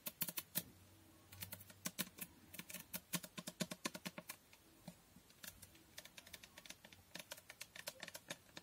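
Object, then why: Glass fragrance bottle. Long nails tap rapidly on the sides of a glass Toko Aroma fragrance bottle with a pink label. Dozens of quick, sharp, bright clicks arrive in uneven bursts and brief pauses, each dying away almost instantly over a faint low background.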